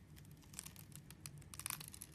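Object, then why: Glycerin soap bar cut with a metal blade. A metal blade scores a grid into a palm-sized, purple translucent glycerin bar soap held in the hand and cuts small cubes off its surface. Quiet, crisp scraping and crackly cutting ticks with bright, dry edges sit over a steady low hum, with a brief cluster of sharper snaps toward the end.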